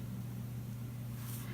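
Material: Nothing is struck.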